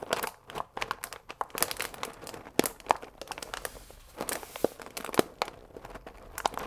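A full paper fusilli bag with a plastic window is held upright and squeezed and scratched with fingertips and nails. Dense, dry crinkling and scratchy rustles are broken by sharp, brief crackles with bright edges. The sound has almost no low end and no ring after each crackle.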